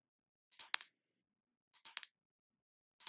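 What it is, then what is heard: Plastic body butter jar tapped. Long lavender nails tap and scratch the lid of a small round plastic Body Shop shea body butter tub held in the hand. Three short bursts of bright, crisp clicking and scratching are separated by silence, each made of quick sharp taps with almost no ring.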